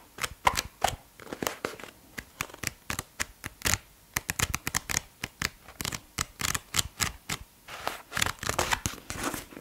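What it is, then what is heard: Paperback book pages riffled. A thick blue softcover paperback is held in one hand while the thumb quickly flips and riffles its paper pages. A rapid, uneven series of crisp, bright paper flicks makes a card-shuffling flutter, with each short snap dying away almost instantly.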